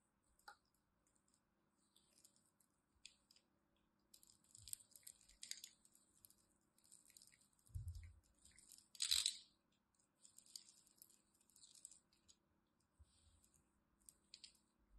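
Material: Soap.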